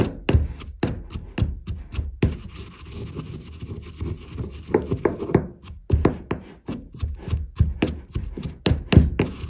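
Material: Marble.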